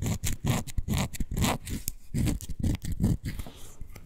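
Long nails scratch back and forth along the beige glittery faux suede fabric covering a miniature toy couch. The result is a quick, uneven run of short, dry scraping strokes with a soft, fuzzy rasp, mostly low in body with faint bright hiss on the strokes.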